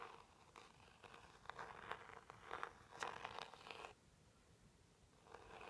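A white plastic pointed stick scratches and taps the back of a small, hollow, teal rigid cardboard jewelry box. It makes dry, papery scratching bursts and light hollow taps in an irregular rhythm, with a midrange body around 800 Hz. A quieter stretch follows, then soft scratching picks up again at the end.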